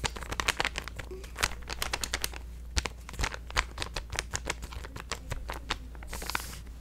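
A hand-sized purple resealable plastic supplement stand-up pouch is crinkled and scratched with fingertips and painted nails. Dense, sharp crackles and crisp clicks run throughout, with a brief bright hiss near the end over a steady low hum.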